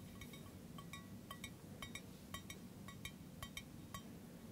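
A hollow, empty stainless steel camping mug with a handle is held in the hand and tapped with fingertips and nails. It gives a quick series of bright, short metallic clinks with a ringing tone near 2.2 kHz, set over a low, steady background rumble.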